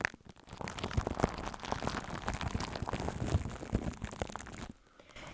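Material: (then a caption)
Aluminium foil. Long acrylic nails and fingertips crumple and scratch a sheet of crinkled aluminium foil wrapped as a hollow, loose layer around a microphone head. Close, dense crackling and crinkling runs with many sharp ticks and dull low thumps, then quiets to a faint hush near the end.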